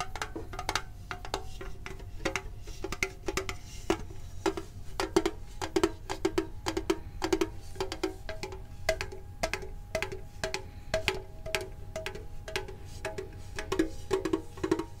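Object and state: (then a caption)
Metal card tin. A medium printed hollow metal Pokemon card tin is tapped quickly with the fingertips and nails, producing a dense run of short, dry metallic clicks and taps. The taps carry a hollow tone around 330 Hz, with bright edges that die away almost instantly over a faint low background hum.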